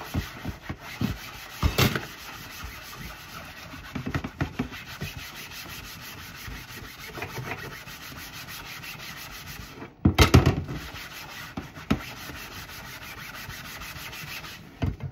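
A flat, solid white plastic cutting board sits in a sink while hands in pink rubber gloves rub and scrub its surface with a soapy sponge. A steady, low, damp scrubbing rasp continues throughout, with brief louder swipes and scrapes near the start, a heavier burst around the middle, and another near the end.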